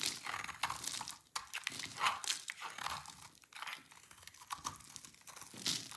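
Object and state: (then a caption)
Dry soap bar being shaved. A knife scrapes and shaves crumbly flakes from one end of a solid rectangular bar of dry yellow laundry-type soap held in hands with red nails. The clip is full of dry, crisp crunching and crinkling scrapes, bright and airy with almost no low end. Short uneven strokes rise and fall in loudness over six seconds.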